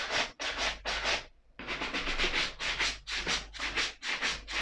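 A small wooden brush sweeps over the heel and upper of a single black suede leather ankle boot held up in the air. The result is quick, bright, scratchy rubbing strokes: three at first, a short pause, then a steady run of repeated back-and-forth strokes.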